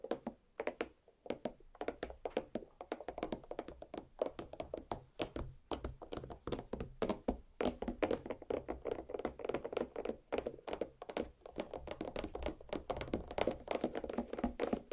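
Long black nails on both hands tap rapidly and continuously on a large watermelon half resting on a plate, its rind and flesh solid. Each tap is a short, dull, hollow thunk with a mid-range body and a very quick decay, and the fast strikes overlap into a steady drumming patter.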